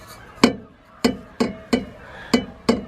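The steel exhaust tip of a turbocharged Mk1 Mazda MX-5, shaken by the back box after new exhaust rubbers were fitted, knocks against a nearby piece of metal. Six short, sharp metallic knocks with a brief ring are heard. The exhaust now moves little, and the centre-to-rear pipe no longer hits the rear subframe brace.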